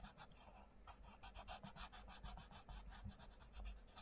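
A sharpened wooden coloured pencil colours on the page of an open paperback colouring book, The Mindfulness Colouring Book, lying flat on a wooden table while one hand steadies the page. Quiet, continuous scratching and rubbing strokes come in a quick, steady rhythm, each with a bright, papery rasp over a faint low rumble.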